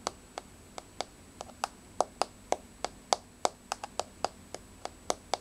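Long, rounded, blue-grey polished nails on both hands tap a flat, solid, wood-grain laminate floor. The result is 20 short, dry clicks at an irregular pace, with a focused tone around 750 Hz and bright edges. Each click dies away almost at once over a quiet background.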